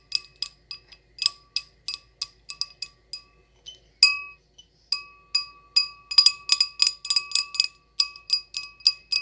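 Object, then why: Small glass goblet. An empty, small, clear glass goblet with a short stem is tapped with long acrylic nails in quick, irregular bursts. Each tap gives a bright, glassy ping with a clear tone near 1.1 kHz, a stronger one near 2.6 kHz and a high, shimmering partial. The pings are short and ring out only briefly.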